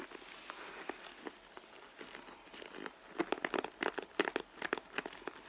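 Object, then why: Leather handbag. Long blue nails scratch along the stitched panel on the side of a red pebbled-leather handbag, which sounds hollow and soft. Dry, crinkly scratches and clicks start sparse and quiet, then grow denser and louder after about three seconds. The sound centers in the mids, has bright edges, and carries almost no low end.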